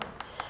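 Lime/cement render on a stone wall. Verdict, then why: Hollow. A small hammer taps three times on the lime/cement render at the base of a damp stone wall. Each tap gives a short, hollow knock with a midrange ring around 500 Hz. The hollow sound shows the render has come away from the wall because of rising damp.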